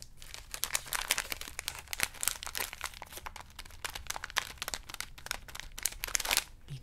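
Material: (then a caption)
Plastic. A small blue plastic Skittles pouch full of candy is held in both hands while the fingertips crinkle and squeeze it. The result is a steady stream of bright, dense crackling, with many sharp crinkles over a soft hiss and faint low rumbles of the candy shifting inside.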